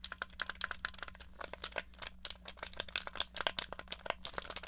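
Long nails rapidly tap and scratch the shell of a small, hollow grey plastic NES controller. The result is a quick run of dry, bright clicks and scratchy rustles with no ring, over a faint steady low hum.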